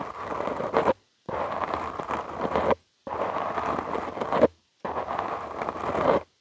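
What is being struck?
Foam microphone windscreen.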